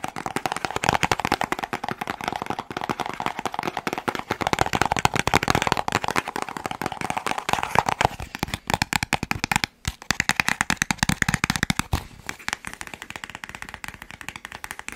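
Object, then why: Small cardboard box. A small, hollow, white and teal printed cardboard box is held in the hands and tapped quickly with the fingertips close to the microphone. Dense, dry, rapid taps with almost no ring carry a hollow midrange tone, with a brief pause near the ten-second mark before the tapping resumes.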